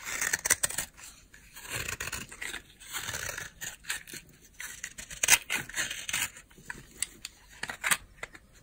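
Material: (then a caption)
Soap. A utility knife blade scrapes flakes off a solid white oval bar of dry soap held in the hand. Crisp, bright, crunchy scraping strokes come in quick bursts, with sharp, dry clicks centred around 2 kHz. Each stroke stops short with almost no ring.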